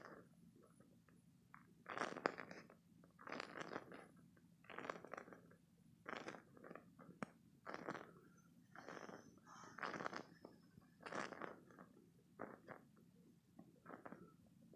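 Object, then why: Spiky silicone squeeze toy. A hand-sized, hollow, soft green spiky silicone or rubber stress toy is squeezed and scratched with fingertips and short painted nails. This produces a series of quiet, crackly, squelching bursts of rubbery friction. The bursts rise and fall in short clusters, reaching into bright high tones, with brief gaps between them.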